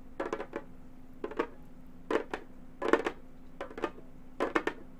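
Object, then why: Synthetic-head frame drum. Gold metal claw tips tap on the synthetic head of a hollow frame drum, giving quick metallic clicks with a faint hollow tone. The taps come in about six short clustered bursts, each dying away almost at once, over a quiet steady background.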